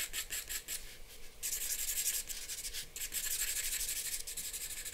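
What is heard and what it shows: A charcoal pencil is rubbed in rapid hatching strokes across a flat white drawing paper sheet. It makes a dry, bright, scratchy rasp in quick, pulsing bursts. The scratching grows denser and steadier toward the end.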